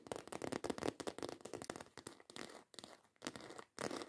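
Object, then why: Faux leather handbag with textured embossed surface. Long acrylic nails scratch and tap quickly across the textured surface of a black croc-embossed faux leather handbag. Dense, dry clicking and scraping bursts crowd together with little low end, broken by a few brief pauses.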